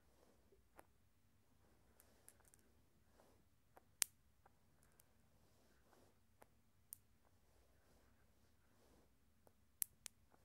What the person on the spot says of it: Glass marbles making some sounds and rolling around.